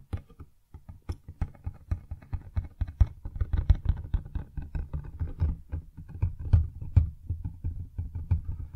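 Fingertips and nails tap and scratch the sides of a medium-size printed cardboard retail box for a Blue Yeti X microphone, held upright in both hands and apparently still holding its inner packaging. A rapid, steady run of short, dull, low-pitched taps sounds with brief scratchy bursts between them, each dying away almost at once.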